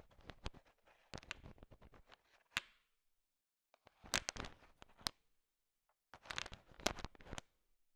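A thin wooden stick stirs a large pile of small, solid, sugar-shell-coated chocolate M&Ms, so the candies click against each other. The sound comes as three bursts of quick, dry, bright clicking and rattling, separated by short silences. Each click dies away almost instantly.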